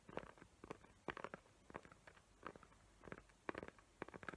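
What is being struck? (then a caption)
Glitter-paper-covered cardboard box. Long nails tap and scratch the glittery lid of a small square cardboard gift box covered in glitter paper with raised hot-glue tree outlines. The result is a quiet, irregular run of short, dry clicks and scratchy bursts, mostly in the mids, with very little ring between them.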